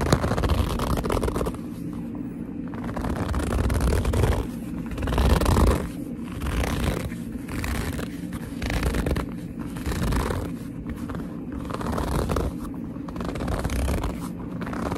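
Fingertips pinch and squeeze the leather of a hollow black leather purse into folds, making squeaky gripping sounds. Bursts of squeaking and creasing rub alternate with softer stretches, with low-heavy rumbling energy under a brighter crinkly texture and no voice throughout.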